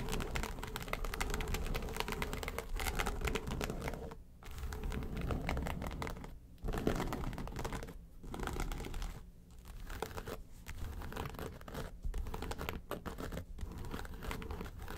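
Long nails tap and scratch the lid of a flat, hollow yellow case with a textured faux-leather covering. Dense, rapid, uneven tapping and rough scratching continue throughout with a hollow, low-heavy body, broken by several brief quiet pauses.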